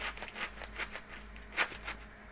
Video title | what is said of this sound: Junk Wax Party Ep 3 - #sportscards #tradingcards #junkwax | I hear some things rattling inside.